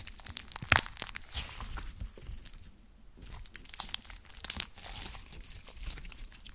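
Clear blue glitter slime with charms, split into two lumps, is squeezed and squished in both fists with long orange nails. It gives off bright, crunchy crackles and sharp wet pops in irregular bursts, with a brief quieter pause near the middle before the squishing picks up again.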